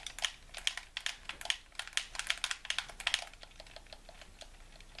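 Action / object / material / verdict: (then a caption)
tap / plastic game controller / plastic / none. A hollow white plastic handheld game controller is held in both hands while thumbs and fingertips repeatedly press and tap its buttons. The result is a rapid, irregular run of short, bright plastic clicks, densest and loudest in the first three seconds and then fading to softer, sparser taps.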